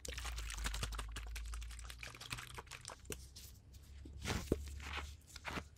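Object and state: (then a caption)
Plastic water bottle being crinkled. A clear, thin plastic water bottle with a blue cap, partly filled, is squeezed and crinkled by gloved hands near the microphone. Dense, bright crackles and crunches come in rapid bursts over a low rumble, with a louder squeeze near the end.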